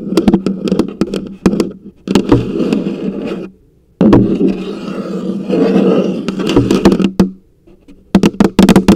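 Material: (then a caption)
Plastic. Long acrylic nails tap and scratch the plastic lid on top of a large, hollow orange plastic coffee canister. Quick bursts of sharp, clicky taps open and close the clip, while longer stretches of rough, steady scratching fill the middle. Throughout, the canister gives off a low, hollow resonance.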